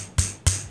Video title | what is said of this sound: Top 3 Low Cost Wireless Keyboard On Amazon | it just sounds cheap and rattly